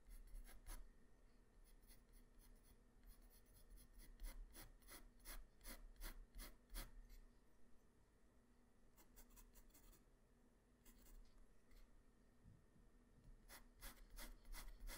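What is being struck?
Graphite pencil on a paper sheet.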